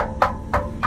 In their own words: But if you listen to this muffler, it's not tinny at all. See, it sounds solid.